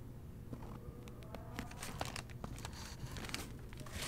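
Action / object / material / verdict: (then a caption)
scrape / paper pages of a hardcover book / paper / none. A fingertip with a long painted nail turns the paper pages of a hardcover novel, The Seventh Plague, while the book is held open. Soft, crinkly paper rustles and light, bright nail clicks come and go over a steady low hum, growing slightly louder toward the end.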